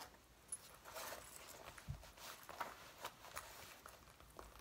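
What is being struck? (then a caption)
Faux leather jacket. Long nails scratch, rub and crinkle the front panels of a soft, flexible dark brown faux leather jacket being worn, around the waist and zipper. The result is quiet, dry rustling and crinkling with a bright hiss, broken by about six short, sharp scratchy clicks.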